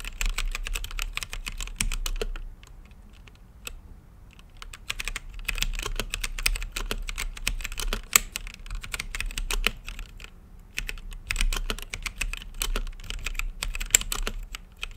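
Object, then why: Mechanical keyboard with plastic keycaps and acrylic case. Fingertips type on an RGB-lit mechanical keyboard with plastic keycaps and a clear acrylic case, producing rapid, bright, sharp key clicks with very short decay. The typing runs in bursts, with a quieter lull around the third second and a brief pause near the tenth, over a faint low hum.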